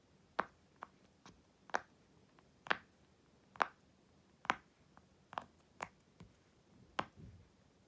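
A blue and purple silicone unicorn pop-it toy, flipped over and held in both hands on a black surface, has its hollow bubbles pushed and popped by fingertips and long white nails. Ten short, dry, irregularly spaced pops are heard, each with a sharp midrange snap and a bright edge that dies away almost instantly. The quiet background stays still between the pops.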